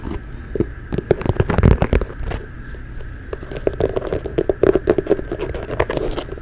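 A hollow, empty, medium brown leather (possibly faux) ankle boot is held in both hands close to the mic and scratched and tapped with long nails and fingertips along the shaft and heel. The result is a dense run of dry scrapes, crackles and dull, short taps, with a low, boomy body and almost no high end.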